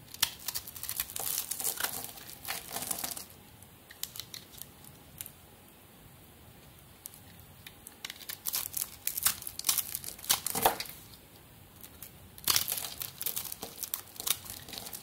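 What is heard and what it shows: A solid white soap bar with a red and gold glitter coating, scored into cubes, is cut with a metal blade and broken apart with the fingertips. Dry, bright crumbly scraping and crackling comes in bursts, with quieter pauses around 4–8 seconds and 11–12 seconds.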